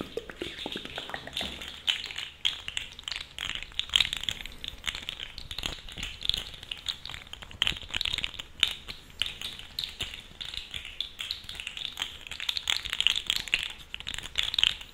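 A purple-and-black segmented plastic fidget slug toy with hollow jointed segments is bent and twisted with the fingers. Its joints give a continuous stream of dense, bright, ratchet-like clicks with almost no ring and very little low end.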